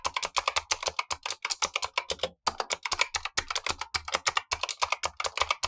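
Blue-gloved fingertips type on a Razer Huntsman V2, the lower of two keyboards, with black plastic keycaps and clicky switches, while the upper keyboard stays untouched. A fast run of about forty sharp, bright clicks is heard, each dying away almost instantly, with a brief pause partway through.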